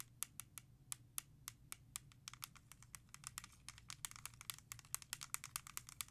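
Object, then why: Plastic CD jewel case. Long nails tap and scratch the back cover of a single hollow plastic CD jewel case for *Thriller*, held in the hand. It makes a rapid series of sharp, bright, dry clicks with almost no ring, over a faint low hum. The taps grow denser and mix with scratchy texture toward the end.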